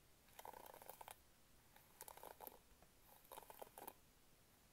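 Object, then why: Plastic bristle hairbrush. Long painted nails scratch across the pink plastic bristle pad of a hand-sized hairbrush with an orange plastic handle, held near the mic. Three quiet bursts of dry, crackly scraping are heard, each a cluster of quick ticks centered in the mid range with bright, hissy edges, separated by near silence.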